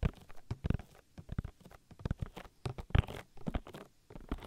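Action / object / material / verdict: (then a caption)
scrape / silicone ear of a binaural microphone / silicone / none. Oily fingers rub and pat rapidly over the soft silicone ear of a 3Dio binaural microphone, making squishy, wet oil-massage sounds. The sound is close and muffled, with quick bursts of patting and smearing weighted heavily toward the low end and no high sparkle.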